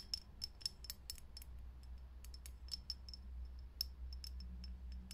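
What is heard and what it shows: Long nails tap rapidly on a lit, hollow, clear glass vintage filament light bulb. Each tap makes a quick, bright, high click that dies away almost at once. A steady low hum runs underneath.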